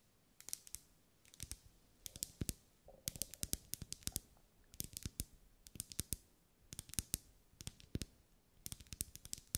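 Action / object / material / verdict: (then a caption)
tap / wax pillar candle / wax / none. Long acrylic nails tap a lit, pink, ribbed, solid wax pillar candle in quick bursts of sharp clicks, separated by short pauses. Each tap is a bright, dry click over a soft, low thud and dies away almost instantly, with no ring.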